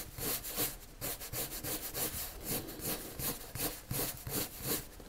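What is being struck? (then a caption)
Colored pencil on drawing paper. A hand draws circular strokes with a pale, wood-cased colored pencil on a flat sheet of white drawing paper resting on a table. The lead scratches and rubs the paper in a quick, somewhat uneven rhythm of soft, bright, hissy swishes. Each stroke fades almost at once.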